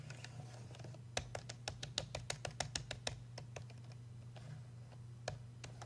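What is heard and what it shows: Fingertips tap and trace around the perforated earpiece cap of a hollow black hard-plastic payphone handset held in the hand. Sharp, dry clicky taps arrive in a quick irregular run in the middle, then thin out to a few scattered taps over a faint scratchy brushing. A steady low hum runs underneath throughout.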